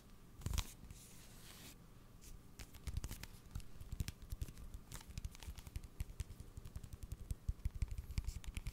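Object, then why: Cardboard salt canister. Fingernails tap and scratch a tall blue cylindrical cardboard salt tube labeled Sel Fin, apparently filled with salt. Quick, dull, low thuds come in a rapid, irregular patter, mixed with short dry scratching rasps that carry brighter hiss, especially near the start. Each tap dies away almost instantly.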